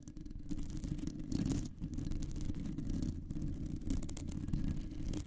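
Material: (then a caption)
Metal mesh. Long nails on both hands scratch and tap the round, hollow, woven metal mesh grille of a condenser microphone. The result is a dense, continuous, muffled rumbling scratch, heavy in the low end and nearly without bright highs. Faint clicks flicker through it, with brief dips near 1.7 and 3.2 seconds.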